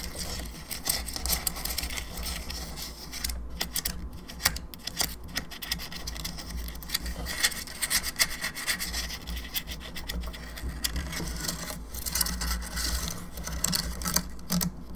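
Long nails scratch across the cranium of a hollow plastic skull candelabra lamp and tap its teeth, making a dense, bright rasping with quick clicks over a steady low hum. The scratching is continuous and fairly quiet throughout, with short sharp taps standing out here and there.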